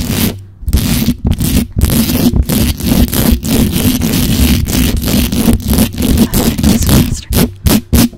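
Long pointed acrylic nails fast-scratch and tap the hollow perforated metal mesh grille of a black USB condenser microphone. The result is a dense, boomy, low-heavy scraping rush broken by short silent gaps, turning into quicker choppy bursts near the end.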